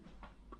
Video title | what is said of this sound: House Rewire: Day 2 and 3 | I can tap on it and hear it, like a drum, uh cuz it's kind of hollow